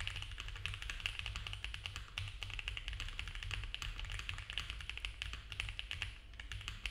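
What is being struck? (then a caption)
Mechanical keyboard with plastic keycaps. Both hands type fast with their fingertips on a compact mechanical keyboard with cream ABS keycaps on a dark case, a polycarbonate plate and foam filling. The result is a continuous stream of rapid, short, bright plastic clacks peaking around 2.7 kHz over a steady low rumble.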